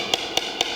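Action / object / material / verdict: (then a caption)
tap / aircraft composite panel tapped with a coin / composite / well-bonded. Three clear, bright taps on a well-bonded area of an aircraft composite panel during a coin tap inspection, each a short, crisp click centered around 3.3 kHz that dies away almost instantly. The clean, ringing tone indicates good bonding with no hidden void underneath.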